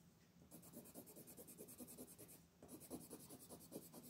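A brown wooden colored pencil, held by a hand with long painted nails, rubs in fast coloring and scratching strokes across a flat white paper mandala sheet lying on a table. Two quiet bursts of rapid, rhythmic back-and-forth scratching are heard, with bright, papery hiss over soft low thumps, separated by a brief pause around the middle.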